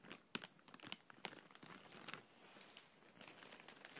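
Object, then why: Thin clear plastic bag. An empty, clear, thin plastic bag held in the hand is gently scrunched and rubbed with fingertips and nails. It makes a soft, steady crinkling full of bright, sharp crackles over a quiet hiss, with almost no low end. Each crackle snaps off instantly.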